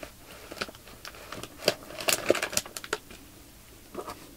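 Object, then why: Plastic bag filled with polyester fiber fake snow. Fingertips press along a clear plastic bag full of white polyester fiber fake snow, crinkling the plastic film along its length. Soft, irregular crinkles and sharp bright crackles stand out from a quiet background, with the loudest cluster in the middle and fainter crinkles near the end.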